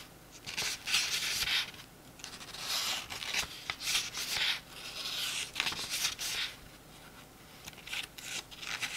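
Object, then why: Paperback book pages. Fingers riffle, flip and rub the paper pages of a small open paperback book. Bursts of bright, dry papery swishing and rustling rise and fade over about nine seconds, with almost no low end. Quieter gaps fall between the louder bursts.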